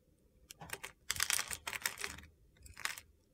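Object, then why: Bar of soap cut with a knife blade. A utility-knife blade scrapes crunchy cubes off a hand-sized solid mint-green soap bar. The result is a run of short, bright, crisp crunching scrapes, some in quick bursts, separated by brief quiet gaps.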